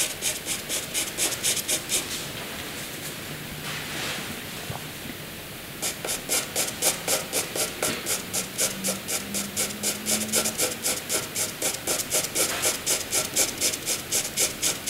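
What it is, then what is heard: Graphite pencil hatching on paper. A wooden graphite pencil draws rows of hatching strokes on white paper, making a bright, dry scratching. Quick, regular back-and-forth strokes of about four per second pause for a few seconds of smoother continuous rubbing, then resume in a steady rhythmic pattern to the end.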